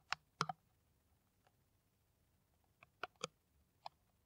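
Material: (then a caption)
Plastic. Long nails tap an empty, hollow, clear plastic PET water bottle with a white screw cap, held in the hand. Short, dry, bright clicks come in irregular clusters with quiet pauses between them. Each tap dies away almost instantly, with a light hollow ring around 1.4 kHz.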